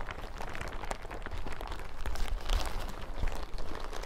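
A thin, yellow, crinkly plastic hazmat suit lies bunched on a table, then is lifted and crumpled and scrunched with hands and fingertips. A steady run of dense crinkling and crackling comes through over a heavy low rumble, with a few louder scrunches standing out.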